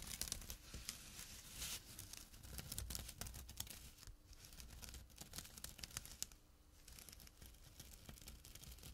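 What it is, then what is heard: Burlap drawstring bag being scratched. Fingertips and short nails scratch a small, empty jute burlap drawstring pouch resting on dark cloth. The result is a quiet, dense, rough scratching with bright, hissy texture and a low rumble, made of many quick, dry strokes that briefly ease off around the fourth and seventh seconds.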